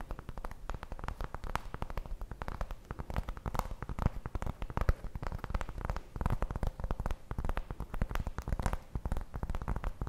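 Long blue nails tap and scratch across the surface of a large, solid, round flat cork coaster held up in the air. A dense, continuous run of soft, dull taps and scratchy rustles follows, mostly low and muffled, with short dry clicks and no ringing.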